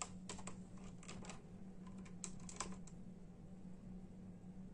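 Bare fingertips of both hands type in a steady tapping on a full-size black and silver plastic membrane keyboard with hollow keys. The keys give soft, short, hollow clicks, a few slightly louder, over a constant low hum, and the whole clip stays quiet.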